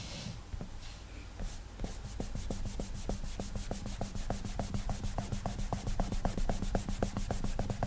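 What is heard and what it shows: Fingertips rapidly rub and scribble across the flat glass touchscreen of an iPad while drawing, making many short, quick strokes. A steady run of soft, bright swishing strokes rises slightly in loudness over a constant low hum.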